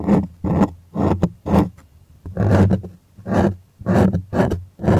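Fingers scratch the taut white cotton canvas stretched on a wooden frame in a close-up. Repeated rough, raspy strokes come in short bursts with a deep, rumbling low end and uneven spacing, separated by brief quiet gaps.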